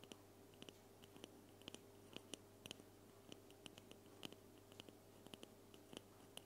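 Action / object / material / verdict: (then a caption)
tap / aluminium aerosol spray can / aluminium / none. A hand-sized, silver-white, hollow aluminum aerosol spray can is held close and scratched and tapped with long painted nails. About 26 quick, dry clicks and taps land over a soft, steady scratching bed, each with a brief metallic ping around 3 kHz and a very short ring. A faint low hum runs underneath throughout.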